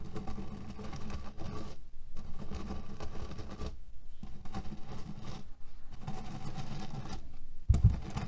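Fingernails slowly scratch at the edges of a cotton canvas pillow filled with cherry pits, producing a low, grainy, rustling scrape with a dull rattle of the pits inside. The scratching comes in strokes broken by brief pauses, and a slightly louder rustle sounds near the end.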